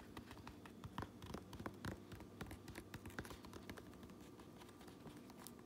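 Long nails tap and scratch the underside of the red brim of a fabric trucker cap, then the top of the same brim. The quiet, rapid taps are soft and dull with a low thump and short decay, mixed with faint scratchy rasps over a steady low hum.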